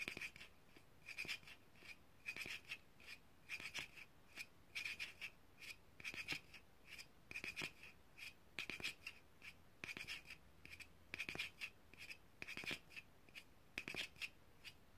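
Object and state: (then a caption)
Plastic jar. Long painted nails tap and scratch the screw lid and paper label of a small white plastic jar held in the hands. The sound is a quiet, steady stream of crisp, bright clicks and scratchy rubs, grouped in repeated bursts.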